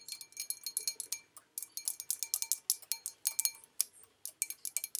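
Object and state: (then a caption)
Porcelain bowl. Long nails tap the base and outer wall of an empty white porcelain bowl with an olive design as it is turned in the hands. About thirty quick, quiet, bright clinking taps come in uneven bursts, each dying away almost at once with a faint high ring.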